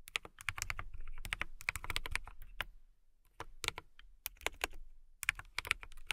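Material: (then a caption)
Plastic. A transparent mechanical keyboard with clear plastic keycaps is typed on with fingertips and long nails. Bursts of sharp, bright, clicky keystrokes with a soft low thump underneath stop briefly near the middle, then resume in quick runs.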